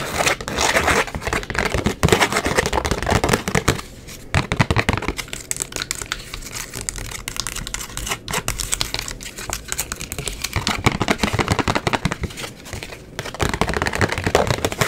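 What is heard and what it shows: Long acrylic nails quickly tap and scratch the face and edges of a small, hollow white cardboard gift box with a rose print. The result is a dense run of sharp clicks and hollow knocks mixed with bright, dry scratching. It is busiest and loudest at the start and end, with a softer, lighter stretch in the middle.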